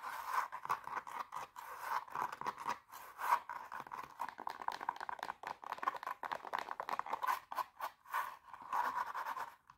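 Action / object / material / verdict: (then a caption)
scrape / glitter fabric high heel shoe / glitter fabric / none. Long painted nails rapidly scratch the glitter toe of an empty silver glitter pump with a black sole and heel, then tap on its sole. The sound is a fast, dense run of dry, crisp scratches and quick clicks, bright in the midrange with no low end and almost no ring after each stroke.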